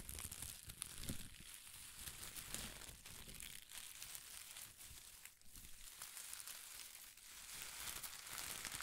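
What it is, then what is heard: Shredded paper strips crinkled by hand. A bunch of thin pastel shredded paper strips is clutched in one hand and crumpled and crinkled with the fingers. It makes a steady, quiet stream of dense, bright crackling and rustling with soft low thumps underneath, with no clear breaks between sounds.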